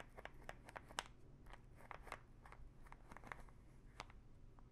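Long nails scratch the ridged teal cap of a small plastic pill bottle full of pills. The result is a series of sharp, dry, crunchy scrapes with a bright edge, each dying away almost at once over a quiet low hum.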